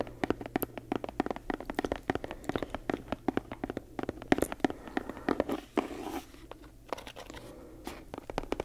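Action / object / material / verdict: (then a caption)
tap / leather-bound book / leather / none. Long nails tap and scratch on a brown leather-bound book with a laced spine, held to the side. Many quick, dry taps land in slow and fast runs with no ring, mixed with soft scratching and crinkly rubbing on the leather over a faint low hum.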